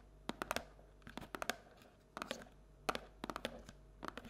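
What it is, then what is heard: Paperboard treat bucket. Long nails tap and scratch the wall and bottom of a paperboard Halloween treat bucket, which is held and tilted so its base shows. The result is a run of sharp, dry clicks in loose clusters, with faint papery scratching between them.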